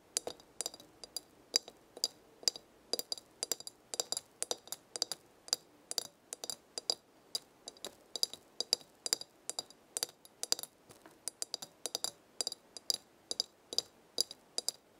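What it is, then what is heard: Glass herb jar tapped with fingernails. Long red nails tap the glass side of a glass jar full of dried leaves. Quick, irregular bursts of bright, sharp clicks and clinks repeat throughout, each very short with almost no ring and no low end.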